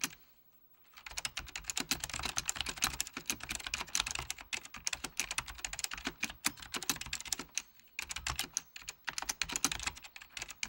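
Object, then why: Plastic mechanical computer keyboard. Fingertips of both hands type on a full-size beige plastic Apple Extended Keyboard II with mechanical key switches. After a second of near silence, fast bright clacking runs continuously with a short pause near the eight-second mark, each keystroke sharp and dry with almost no ring.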